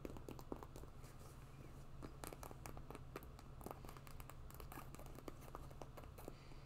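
A white quilted faux-leather winter boot with fur trim and pompom laces, hollow and empty, is held up while long fingernails scratch and tap its quilted upper. Quiet, dry clicks and short scratchy ticks come in a quick irregular stream over a steady low hum, each one dying away almost instantly.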